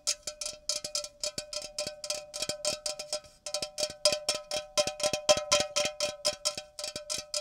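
Fingers tap an unopened aluminum Coca-Cola can full of soda, a liquid-filled container tapped for its rain-like sound. The taps come quickly and unevenly, each a bright, crisp click with a short metallic ring around 600 Hz that dies away almost at once. They swell and ease in loose bursts, with a brief pause near the middle.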